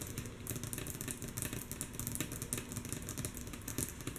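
Long natural nails of both hands tap rhythmically on a flat, solid, light wooden tabletop. The taps are soft, quick and clicky, with brief sharp highs over a steady low rumble. Each tap fades almost at once.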